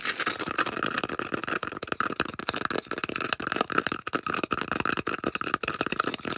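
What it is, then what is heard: Styrofoam disc. Long acrylic nails rapidly scratch and tap the flat face of a solid, round white polystyrene foam disc held in both hands. The foam gives off a dense run of squeaky, scraping clicks with a steady high-pitched squeal near 1.3 kHz and bright hiss above it.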